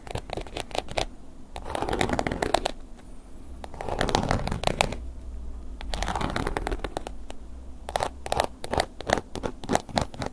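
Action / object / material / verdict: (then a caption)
scrape / textured leather wallet scratched with a wooden pick / leather / none. A wooden ear pick scratches the textured surface of a tilted black woven-embossed leather long wallet. Quick dry clicking strokes alternate with denser swells of raspy scraping, with a bright, crackly edge over a soft low rumble.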